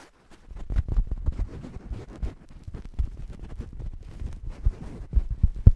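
A soft, stuffed green fabric cushion is held right at the microphone and scratched and squeezed with fingers. It makes dull, muffled low rustling and soft thudding bursts in an irregular stream, with almost no high-frequency content.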